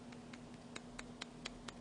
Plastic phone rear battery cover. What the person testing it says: you can probably hear it when I tap on it